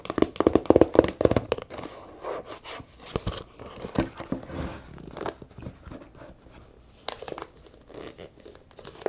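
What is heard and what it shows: A small hollow brown leather camera case with a zipper rests on a table and is then lifted while long nails tap and scratch fast across its leather top and sides. Quick, irregular dry taps and crinkly scratches come in dense bursts, loudest at the start and thinning out with brief sharp clicks later.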